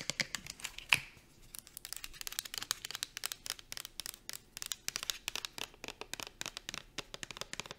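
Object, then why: Plastic shampoo bottle. Long acrylic nails tap quickly on the body of a pink plastic shampoo bottle, then on its dark plastic bottom. The result is a steady stream of dozens of dry, bright clicks with almost no ring, and one sharper, louder click near the start.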